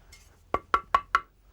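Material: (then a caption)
Ceramic. A restorer taps an uncracked ceramic stove tile four times for comparison, and each tap gives a short, clear ringing tone around 1.1 kHz that fades quickly. The intact tile sounds quite different from the cracked one.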